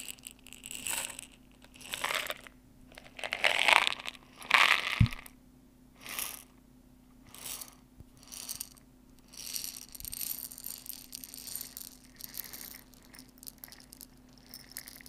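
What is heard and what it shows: A medium clear glass jar with a white plastic lid, about two-thirds full of dry popcorn kernels, is held in both hands and tilted and shaken while long dark nails touch the glass. Irregular bursts of bright, crisp rattling swell and fade, with the kernels skittering against the glass, over a faint steady low hum.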